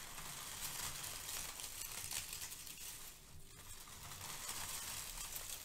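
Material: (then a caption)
Paper. Both hands with long nails scrunch and rub a pile of brown crinkle-cut kraft paper shred. A steady, bright rustling and crinkling runs throughout, easing briefly around the middle before picking back up.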